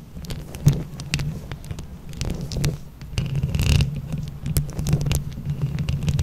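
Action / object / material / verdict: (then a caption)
scrape / microphone head covered in small plastic buttons / plastic / none. Long acrylic nails on both hands scratch across the small plastic flower buttons covering a microphone head over its metal mesh. The result is a dense, continuous stream of scratchy rustling and clicking, with heavy low rumbling thumps up close and sharp, bright clicks scattered throughout.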